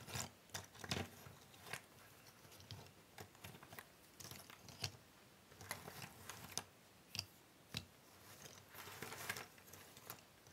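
Fingertips and long nails rub and shuffle a large pile of small, thin cardboard jigsaw puzzle pieces on a wooden table. The result is quiet, bright, scratchy rustling, broken by short, sharp clicks and light clatters as the pieces slide and tap together.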